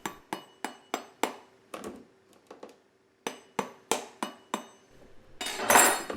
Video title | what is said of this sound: The Absolute Best Way to Store Bell Peppers 🫑 | if you listen close when we thump them you can hear how firm they are